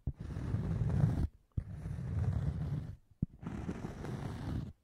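Fingernails scratch and tap a round, scalloped cork coaster, thin and solid, held in front of the microphone. Three long bursts of low, dull, rasping scratching are each set off by a short, sharp tap, with brief pauses between them.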